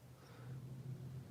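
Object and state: Nothing is struck.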